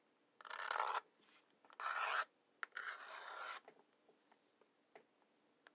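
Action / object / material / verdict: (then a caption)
scrape / wooden match scraped on a cardboard matchbox striker / cardboard / none. Wooden match heads are scratched along the rough brown striker strip on the side of a large, hollow cardboard matchbox. Three bright, gritty scrapes of about half a second to a second each are heard, with short quiet gaps between them. Faint small taps and ticks follow in the quiet tail.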